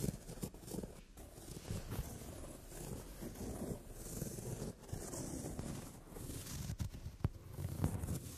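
Long nails tap and scratch across a brown glossy leather upholstered sofa seat. A steady, dull, low-heavy scraping runs throughout, broken by a few sharp, brief taps that stand out above the soft rustle.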